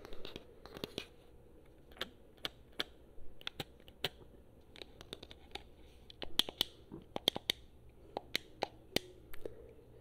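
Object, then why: Plastic game controller. Long fingernails tap on the buttons and touchpad of a hollow, handheld blue PS4 plastic game controller. Irregular, sharp, dry clicks with a bright, high edge and a tone around 3.2 kHz stop almost instantly, over a quiet, steady low hiss.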